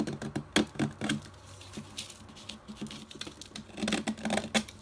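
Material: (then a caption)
Chalk. A metal box-cutter blade scrapes and shaves a solid rectangular chalk block striped white, pink, orange and blue, held in the fingers over white paper. Quick, dry, crackly scrapes and short clicks come in uneven bursts, each with a bright, gritty edge. Crumbly chalk flakes off onto the paper.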